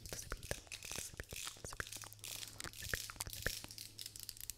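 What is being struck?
Plastic vented hairbrush.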